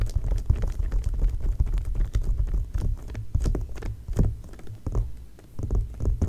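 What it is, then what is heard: Glossy paper magazine. Long nails tap rapidly on an open glossy paper magazine spread lying flat. The result is a dense, fast patter of short, dull papery taps with almost no ring, heavy in low thumps and with a few brighter ticks scattered through.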